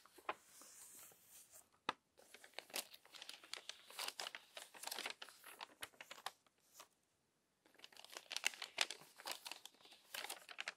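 Long orange fingernails and fingertips turn and flatten the crinkly, crumpled-and-smoothed pages of a thick glossy paper magazine lying open. Dense, bright crackling and crinkling rustles come in quick bursts, with a brief lull near two seconds and a near-silent pause around seven seconds before the crinkling resumes.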